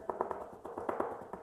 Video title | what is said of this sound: How To Install LED Shop Lights On Ceiling In A Garage - Barrina LEDS! | if you hear how it goes more dull that's where it's located more than likely